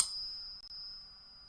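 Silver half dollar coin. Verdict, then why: Real. A 1964 90% silver half dollar is pinged once on a Pocket Pinger, giving a single high, sustained bell-like ring with steady tones that fades slowly. The genuine ring sets the baseline pitch for 90% silver.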